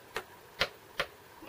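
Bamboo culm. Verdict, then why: Young. A young bamboo culm is struck, giving three short, dull knocks that die away almost at once with no clear ring. The flat "blep" sound marks the culm as young rather than mature.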